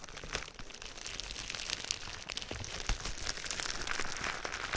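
Clear plastic bubble wrap laid over a binaural microphone is scratched and tapped with fingertips and nails, producing dense, steady crinkling. Bright, crisp plastic crackles and short sharp ticks run throughout, with soft low thumps from the taps underneath.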